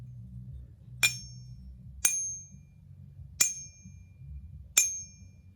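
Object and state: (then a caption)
Genuine silver bar. A genuine Metalor silver bar is pinged four times, each strike giving a bright, high-pitched ring that fades quickly over a faint low background hum. The clear, sustained tone marks it as real silver.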